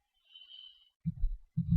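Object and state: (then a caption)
Sourdough loaf, hollow (baked through). A freshly baked whole-grain sourdough loaf, just out of the oven, is thumped on its bottom, giving low, hollow thumps after a faint high-pitched tone. The hollow sound shows the loaf is baked all the way through.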